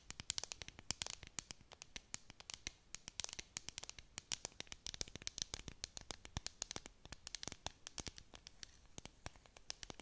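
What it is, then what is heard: Plastic tumbler cup with dome lid. Long nails scratch and tap a clear plastic tumbler with a bead-decorated dome lid, close to the mic. It makes a quiet, dense stream of sharp, bright clicks and scrapes that stop instantly, with no ring after each one.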